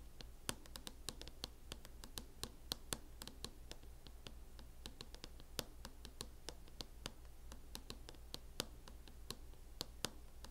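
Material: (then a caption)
Plastic. Long acrylic nails tap and scratch on a mint matte plastic hard-shell case covering a closed MacBook laptop. Dozens of short, sharp, bright clicks ring out over soft scratching and a steady low hum, each tap dying away almost instantly.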